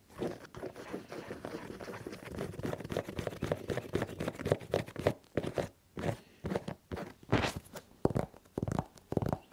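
Fingertips tap and patter rapidly on the foam/rubber sole of a colorful synthetic sneaker held against the chest. A dense, continuous stream of soft, dull, crunchy taps fills the first five seconds. It then breaks into short, separate bursts of tapping with brief pauses between them. The sound sits mostly in the low-mids with little brightness.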